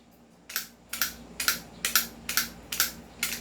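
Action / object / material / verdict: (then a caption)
shake / airsoft rifle outer barrel, metal / metal / loose. A non-upgraded airsoft rifle is shaken up and down by its loose metal outer barrel, with a finger resting on it. About eleven bright, dry rattling clicks come in a quick, uneven series of paired bursts, each dying away almost at once. The loose outer barrel rattles audibly, unlike an upgraded rifle whose fixed outer barrel does not rattle.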